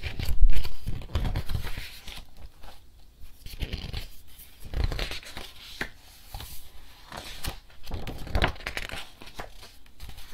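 An illustrated picture book with glossy, photo-printed paper pages is held open in hand while fingertips grab the page corners and flip them rapidly. The result is a steady run of crisp paper rustles and flutters, with brief crinkly swishes and soft low thumps from the handling.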